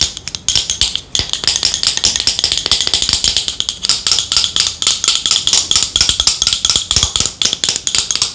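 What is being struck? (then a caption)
Plastic cosmetic bottle. Long nails tap rapidly along the body of a yellow matte plastic Boscia cosmetic bottle held in the hands, making about fifty quick, bright clicks. The taps are crisp and high-pitched with almost no low end, each one dying out almost at once.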